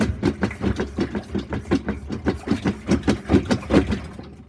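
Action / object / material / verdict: shake / washing machine drum / water / wet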